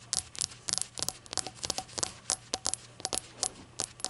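Long acrylic nails tap a small, hollow, rainbow-glazed ceramic shot glass resting on a towel, striking both its base and body. About eighteen light, bright clicks come in an uneven rhythm, each with a faint ringing tone around 750 Hz that dies away almost at once.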